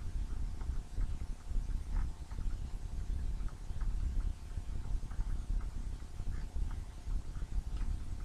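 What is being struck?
Nothing is struck.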